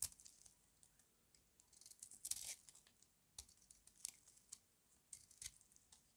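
A solid, hand-sized pink rectangular bar of dry soap is held in one hand and shaved with a metal utility-knife blade, cutting off thin curls. The cuts make a quiet series of short, dry, crisp scraping and crackling strokes, bright and high with almost no low end, the loudest being a longer rasping shave near the middle. Each stroke stops dead with no ring.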